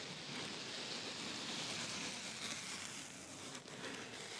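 Fingertips with short painted nails scratch, press and rub the surface of a large flat black open-cell foam pad lying in a cardboard box with a white insulated liner. The result is a steady, dense, crackling hiss, mostly bright and high with little low end, holding an even level throughout with a brief dip near the end.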